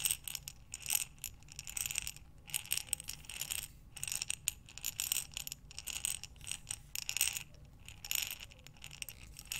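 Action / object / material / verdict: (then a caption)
shake / glass jar filled with buttons / glass / none. A glass mason jar with a metal lid, filled with buttons, is tilted and turned by hands so the buttons rattle inside. Bright, dense clicking bursts come in quick waves with brief pauses between them. There are no ringing tones, only short, crisp clatters.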